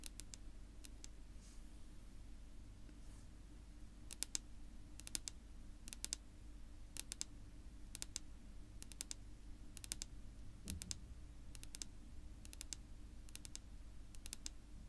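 Long natural almond-shaped nails tap a flat, solid dark wood-grain tabletop, possibly laminate. Quick, sharp, bright clicks come in short pairs and triplets at a steady rhythm, each dying away almost instantly. The taps sit over a quiet, steady low hum.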